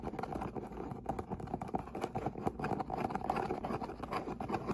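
Long nails and fingertips tap and scratch along the top edge of a medium, closed, brown corrugated cardboard box, which sounds hollow. A steady stream of quick, dry taps and papery scrapes overlaps with little pause, carried by a hollow resonance near 800 Hz. Each tap dies away quickly.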